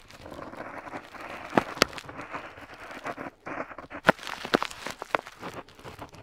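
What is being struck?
Metal pen nib on paper.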